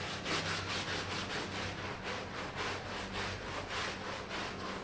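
A red plastic hand brush scrubs a small, wet, foamy red patterned wool pile rug lying on a mosaic floor. Repeated back-and-forth strokes make bright, rasping swishes at a steady, slightly uneven pace. A faint low hum runs underneath.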